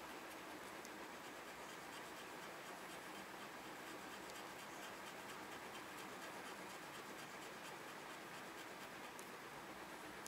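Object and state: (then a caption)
Scratch-off paper parking coupon being scraped. A red plastic pen-like tool scratches off the coated number boxes on a small, flat, printed paper parking coupon lying on a white desk and held down by fingers. The result is a quiet, steady, dry scratching that runs without a break, with bright, hissy texture and almost no low end.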